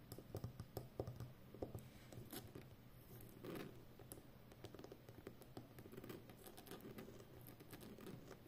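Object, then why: Plastic packing tape roll. Long nails rapidly tap the rim of a full roll of brown plastic packing tape on a cardboard core with a hollow center. The result is a quiet, dense patter of short, dull clicks like typing on a keyboard, with a low hum underneath.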